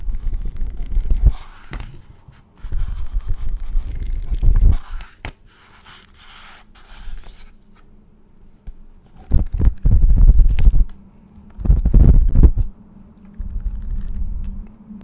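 Fingertips flick and riffle through the yellowed paper pages of an old paperback-style vintage book with patterned endpapers, held close to the microphone. The pages give rapid flutter and flap sounds in several bursts, separated by quieter stretches of soft rustling.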